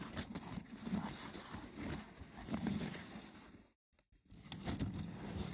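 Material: Wicker.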